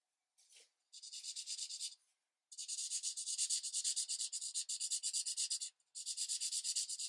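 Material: Paper.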